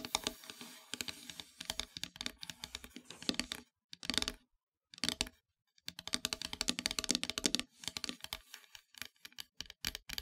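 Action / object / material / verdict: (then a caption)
tap / painted wooden heart-shaped plaque / wood / none. Long metallic nails scratch and tap across a flat, solid, dark painted wooden heart-shaped plaque. The result is dense bursts of quick, bright clicks and scrapes with almost no ring, interrupted by a couple of brief silent pauses.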